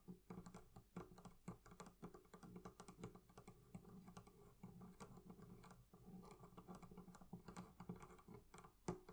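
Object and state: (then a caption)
Leather covering on a barrel chest. Fingers tap and scratch quickly and continuously on the leather covering of a barrel chest for about nine seconds. The taps are soft, dull and low, with a slight hum under them and almost no bright edge. Each tap dies away almost at once.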